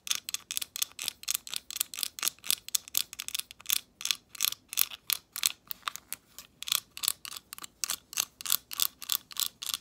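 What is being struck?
Decorative glass leaf ornament.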